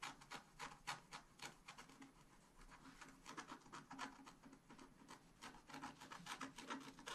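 A wooden stylus scratches rapid, repeated short strokes into the coating of a flat scratch art paper sheet. Each stroke gives a brief, dry, raspy scrape with bright hiss and a midrange body, following in a quick, uneven rhythm that dies away almost at once between strokes.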